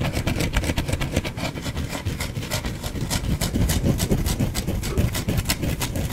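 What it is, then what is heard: Bar of soap being scratched. Fingernails rapidly scratch a solid white, palm-sized, partly carved bar of soap held in one hand, making a dense run of short, dry, crackly scrapes with bright hiss over a low rumble. The strokes come quickly and unevenly, and the soap shavings fall onto the cloth below.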